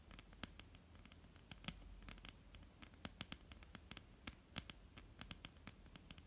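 Long almond-shaped painted nails tap and lightly scratch a flat, solid wooden tabletop. The result is a quiet, irregular patter of short, dry clicks with bright edges over a soft, low scratchy rustle. Each tap dies away almost instantly.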